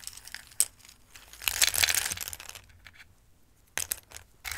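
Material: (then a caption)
Dried pasta. Handfuls of dry raw Christmas-shaped pasta are picked up from a dark bowl and let fall back in, then rustled with fingertips. The result is bright, crisp clattering and rustling with sharp little clicks, swelling into a dense pour before thinning out and picking up again.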